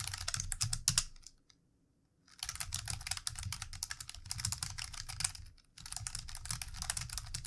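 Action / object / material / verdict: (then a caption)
tap / plastic computer keyboard / plastic / none. Fingertips of both hands type on the keys of a plastic computer keyboard, producing rapid, irregular bright clicks with a soft low thump beneath each keystroke. The typing stops for almost a second near the start, resumes in a steady flurry, and pauses briefly again before continuing to the end.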